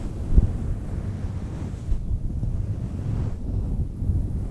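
Long nails scratch and brush a fluffy faux fur microphone windscreen, a synthetic fur mic cover. The result is a continuous, muffled low rumble and rustle, almost entirely bass with no bright content, much like wind buffeting a microphone.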